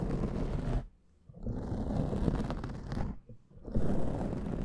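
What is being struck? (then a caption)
Foam microphone windscreen. Fingernails of both hands scratch a black foam microphone windscreen, producing a dense, close, rumbling scratch heavy in low frequencies with faint brighter crackle on top. The scratching runs in three bursts separated by two brief near-silent pauses.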